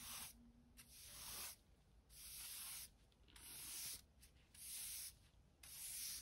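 A short-handled hand brush with stiff natural-colored bristles, held in one hand, sweeps in quick back-and-forth strokes across a large, smooth, bare concrete garage floor that is solid and mostly clean with light dust. Each stroke makes a bright, hissy scratching swish, with short quiet gaps between strokes in a loose, steady rhythm.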